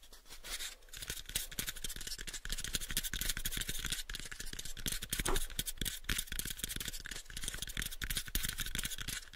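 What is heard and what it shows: Fingertips tap rapidly and a nail scratches on a small pale wooden cube box, producing a dense stream of short, dry clicks and bright scratchy rasps that die away almost instantly. A steady low hum sits underneath throughout.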